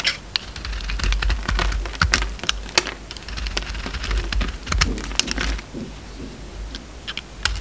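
A utility knife shaves the crust off a solid oval bar of soap, green outside and orange inside. Quick, dry scraping and cutting strokes give short, bright clicks and rasps over a low rumble as the shavings fall.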